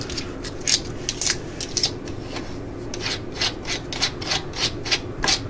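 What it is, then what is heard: Plastic cordless drill housing. Long glitter nails scratch and tap the yellow and black plastic body of a hand-held cordless drill/driver and turn its ribbed clutch collar. The result is a steady bright rubbing rasp with quick, irregular ratcheting clicks and taps that are sharp, high and short.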